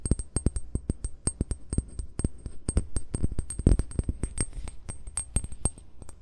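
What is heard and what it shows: Short fingernails tap and scratch the base of a hollow amber glass bottle lying with its base toward the microphone. A rapid, uneven series of short, dull knocks carries a low hollow thump, with faint bright clicky edges, and each hit dies almost instantly. Soft scratching fills the gaps between the taps.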